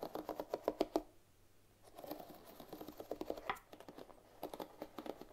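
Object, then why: Bamboo paddle hairbrush with wooden pins. Fingertips and long nails strum and scratch the dense wooden bristle pins of a bamboo paddle hairbrush held pins up. Quick, dry clicking and rasping taps come in bursts, with a brief quiet pause near the second second and another just before the end. The taps are crisp, mid-pitched, and bright at the top, with almost no ring after each one.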